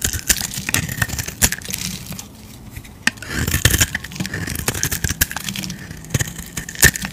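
A utility knife blade scrapes and carves curled shavings off a solid oval bright green bar of soap held in the hand. Bright, crackly scraping comes in bursts, broken by sharp clicks and brief quieter pauses between cuts.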